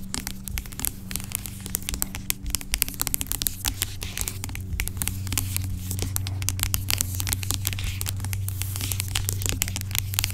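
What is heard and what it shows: Long acrylic nails tap and scratch the sides of a large, dark plastic pump bottle of aloe vera gel lying on its side; the bottle sounds hollow and seems filled with gel. Rapid, irregular, crisp clicks and bright scratchy crackles ring out over a steady low hum.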